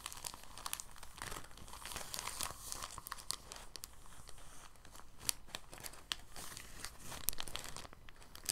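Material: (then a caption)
Plastic. A rolled, clear, thin soft plastic bag is squeezed and unrolled by the fingers, giving steady soft crinkling with sharp, bright crackles. The sound is continuous and fairly quiet, with many short crisp snaps scattered through it and a low background rumble.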